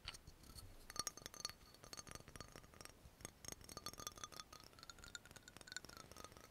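Long nails rapidly tap the yellow label and the cap of a dark brown amber glass oil bottle. The result is a quick, uneven stream of short, bright glassy clicks and clinks, each with a faint high ring that dies away almost at once.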